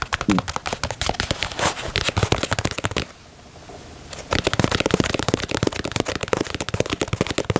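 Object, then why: Leather sneaker. Fingernails tap rapidly on the toe box and side of a black and white leather Nike Dunk sneaker, making dense, crisp clicks. A quieter pause of about a second breaks the run before the fast tapping resumes.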